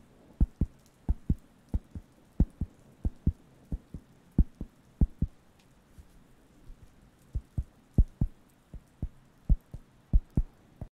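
A round, flat, thin, solid wooden (cork-like) coaster is held near the microphones and tapped and scratched with fingertips. About 28 short, dull, low thumps land in an uneven rhythm with almost no ring, and a softer stretch of lighter taps falls near the middle.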